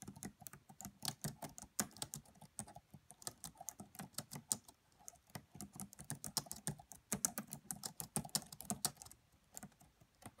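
Fingertips with medium-length nails type quietly on the black plastic keys of a red laptop keyboard. A steady stream of soft, quick, bright clicks with a faint low thud comes in uneven bursts, each tap dying away almost instantly.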